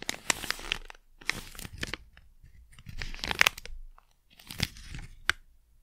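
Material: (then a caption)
Plastic. A small, flat, sealed plastic Blu Tack pouch is squeezed, crinkled and rubbed with fingertips and long nails. Bursts of crisp, bright crinkling and sharp clicking plastic snaps come in several clusters separated by brief near-silent pauses, each sound stopping dead with no ring.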